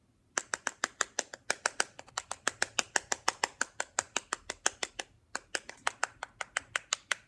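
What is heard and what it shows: A plastic stylus taps rapidly on the back casing of a small, hollow black plastic Nintendo DSi handheld console held in the hand, with some scratching. About 41 sharp, bright clicks sound in a steady run, with a brief pause near the five-second mark. Each click dies away almost instantly.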